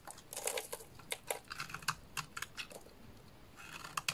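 A small dark blade shaves and scrapes curls off the surface of a solid rectangular purple bar of soap held in the hands, with the shavings piling up below. Quick, crisp, bright scraping strokes crackle in irregular bursts, each cutting off almost at once, with little low end beneath them.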